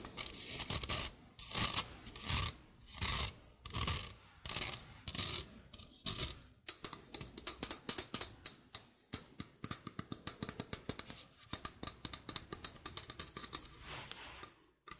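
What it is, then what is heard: Stainless steel mesh sink strainer. Fingernails rub and scratch across a small, hollow, empty sink strainer, a domed stainless steel wire-mesh basket with a rubber rim, held in one hand. Slow, bright, hissing rubbing strokes give way after about six seconds to a quick run of sharp, raspy scratches and ticks, mostly in the high range, with little low end.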